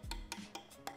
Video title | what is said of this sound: Sayang Sekali Untuk Tidak di Review: Kawasaki Ninja H2 2023 | bunyinya beda kalau resinnya memang kualitas kayak keramik